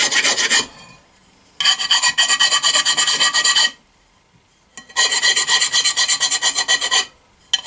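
A steel file is scratched back and forth along the edge of a small, flat, solid cast iron stove plate held upright by hand against a wooden block. Bright, high rasping strokes come in quick runs: a short burst, two long bursts separated by near-silent pauses, and the start of another at the end. A metallic tone sits around 3 kHz with almost no low end.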